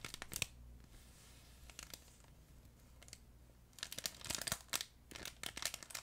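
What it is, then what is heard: Plush crinkle pet toy. A yellow plush fabric duck pet toy with a crinkle insert is squeezed and crumpled with fingers close to the microphone. Bright, crackly crinkling bursts come in clusters, with a quieter soft stretch in the middle before denser crinkling returns.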